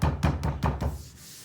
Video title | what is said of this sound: Gluing Plastic Laminate to make tables or counter tops. | you can hear whether it sounds Hollow mine's good in solids I'm not feeling that hollow hearing that hollow sound